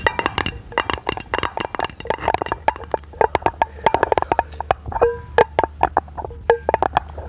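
A round brushed aluminum lid, held in both hands and turned to face forward, is tapped with long nails in a rapid, uneven run of light taps. Each tap is a short, dry click with a faint metallic ping around 420 Hz and brighter overtones that dies away almost instantly, over a soft low hum.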